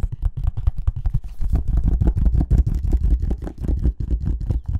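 A small, hollow white cardboard earbuds box is turned in the hands while short fingernails and fingertips tap and scratch it. A rapid, uneven string of soft, dull taps with a deep, hollow low-end thump and light scratchy texture fills the clip, each tap dying away almost at once.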